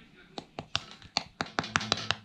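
A freshly baked loaf from a Zojirushi bread machine, well risen with new yeast and with the dough hook still inside, is tapped ten times in quick, uneven succession. Each tap is a short, dry, hollow knock with almost no ring. The loaf sounds hollow, as a properly baked loaf should.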